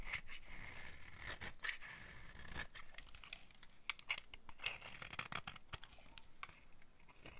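A solid beige rectangular bar of dry soap, held in the hand, is carved with a green-handled metal blade that shaves it into powdery flakes. Crisp, dry scraping strokes repeat in quick succession, each with a bright raspy texture centred near 2.3 kHz. The strokes stop abruptly with almost no ring.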